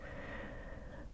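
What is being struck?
Nothing is struck.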